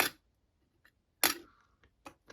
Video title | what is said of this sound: Plastic Ball and Vase Magic Trick Comparisons in 2022 | hear that thin, tinny sound. It's cheap.